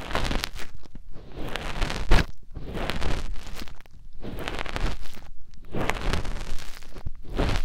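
Fingertips with short nails rub and press inside the ear canal and concha of a soft white silicone ear mounted on a round white binaural microphone housing, in a finger ear-cleaning motion. The result is close, muffled rubbing and rustling, heavy in low rumble, coming in scratchy bursts separated by brief quiet gaps.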